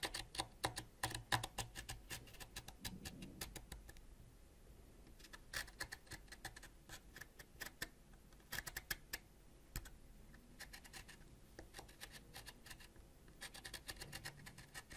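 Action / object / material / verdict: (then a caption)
scrape / wax crayon scraped with a ceramic blade / wax / none. A thin, solid purple wax crayon is scraped with a white ceramic knife blade, shaving off wax. The result is a quiet run of dry, crisp scratches and clicks, some in rapid bursts and others spaced apart, with brief bright transients over a soft low rustle.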